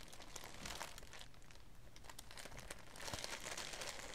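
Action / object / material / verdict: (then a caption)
scrape / tissue paper / paper / none. Both hands with long dark-painted nails and fingertips handle and fold a thin, light green tissue paper wrapping lying flat on a wooden table. The result is a steady stream of soft crinkling and rustling with bright, crisp paper crackles. The crinkling grows louder and denser near the end.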